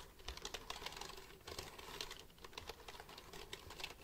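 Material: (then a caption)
Plastic. Fingertips tap the keys of a black plastic computer keyboard held beside the mic. The result is a quiet, steady stream of quick, bright plastic clicks and clacks in an uneven typing rhythm, each dying away almost at once.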